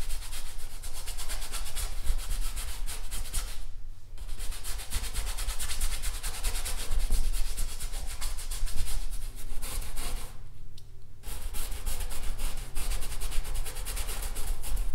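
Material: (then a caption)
Canvas fabric. A paintbrush is brushed in scratchy, rubbing strokes across a large stretched, painted canvas of taut fabric over a wooden frame, standing on an easel. The dense, steady scratching carries a deep low rumble underneath and a bright hiss on top, with short breaks around 4 and 11 seconds before the strokes resume.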